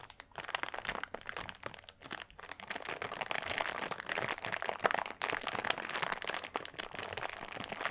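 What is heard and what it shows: Both hands press, rub and scratch with their fingertips across a flat, brick-sized clear plastic bag packed full of tiny purple granules lying on a dark cloth. The result is a dense, continuous stream of bright crinkling and crunching with almost no low end. It comes in short bursts with brief dips between strokes.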